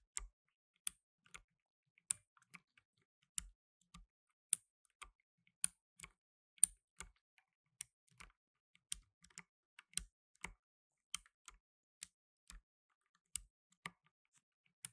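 Fingertips in blue nitrile gloves type on a black tenkeyless mechanical keyboard with plastic keycaps. The result is a quiet, irregular run of sharp, bright key clicks that stop almost instantly, with faint low thumps underneath and brief silences between keystrokes.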